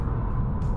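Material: Nothing is struck.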